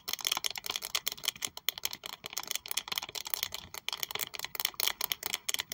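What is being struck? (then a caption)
Textured leather wallet tapped and scratched with acrylic nails. Very long white acrylic nails tap and scratch the textured surface of a small pink saffiano leather Prada wallet with a metal triangle logo, held in hands. About twenty-two quick, crisp clicks and scratches follow one another rapidly. The sound is bright and dry, almost entirely high-pitched, with no low end.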